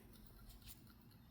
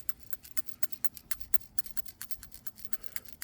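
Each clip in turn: First: stuck PCV valve. Second: PCV valve rattles freely, working.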